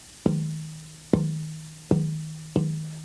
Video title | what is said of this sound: Luthiers.mov | this is a really great piece of wood I hear a lot of life in it